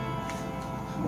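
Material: Nothing is struck.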